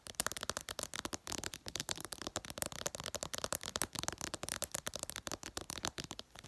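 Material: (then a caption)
Glass. Long purple nails tap quickly on the reflective glass screen of a smartphone lying flat. The result is a fast, continuous run of sharp, bright clicks that die away almost instantly, with little low-end weight.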